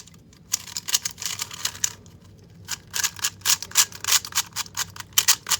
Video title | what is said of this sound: MOST REVOLUTIONARY CUBE!!! GuoGaun YueXiao EDM 3x3 Unboxing and Review... | It's very hollow sounding, you can, it sounds hollow